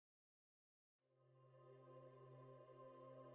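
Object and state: Nothing is struck.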